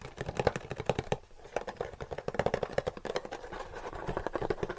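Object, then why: Small cardboard box. A small, light-blue printed cardboard charger box, hollow and closed, is held up in one hand and tapped rapidly with the fingertips of the other hand. The result is a quick, uneven run of soft, dry, hollow taps with a papery boxy tone and almost no ring, with a brief lull partway through.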